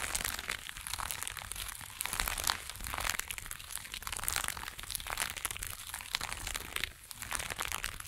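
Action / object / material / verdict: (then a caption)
scrape / small burlap jute pouch / jute / none. A small burlap jute pouch resting on a fur blanket is scratched and rubbed with long acrylic nails and fingertips. The sound is a steady, dense, dry crinkling scratch, bright and rustly, with brief louder swells and a short quieter dip near the end.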